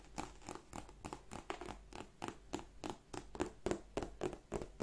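Long manicured nails tap and scratch rapidly on the front flap and front panel of a black glossy croc-embossed leather handbag. A quick, uneven run of soft, dry clicks mixes with brief scratchy rasps, each tap short with almost no ring and a low-mid knock under a faint bright edge.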